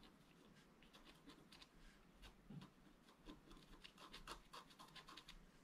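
A wooden stylus scratches fine lines into a flat, black-coated scratch art paper board. Quiet, dry scratching strokes follow one another in quick bursts, each a short bright rasp over a low, steady background rumble.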